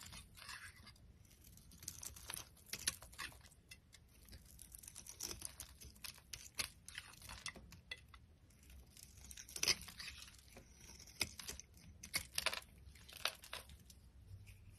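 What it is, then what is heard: Dry bar soap being shaved. A metal utility knife blade shaves a solid, dry yellow Palmolive soap bar held in the hand. Quiet, bright scraping and crunchy, crinkly tearing strokes come in quick, irregular bursts, each one sharp and short. A faint low rumble sits underneath.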